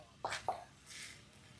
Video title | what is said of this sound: รีวิวบ้านน็อคดาวน์ จะประทับใจหรือไม่ | ว่าเคาะแล้วมันดูแล้วแข็งแรง